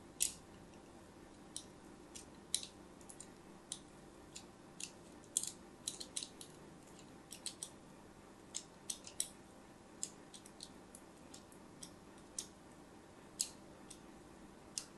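A thin metal blade scratches and cuts diagonal grooves into a hand-sized solid white bar of soap held in the hand. The result is a quick, irregular series of short, crisp, bright scraping clicks that stop almost instantly, over a quiet, steady low hum.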